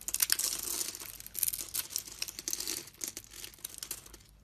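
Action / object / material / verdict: scrape / bar of soap / soap / none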